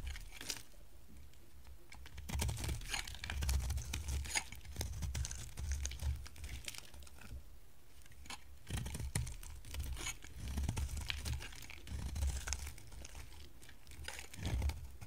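A solid, hand-sized green bar of dry soap is held in the hand and shaved and cut with a box-cutter blade. After a quiet start, dense crisp scraping and crackling bursts come in waves, with bright, papery crunches over a low thumping rumble.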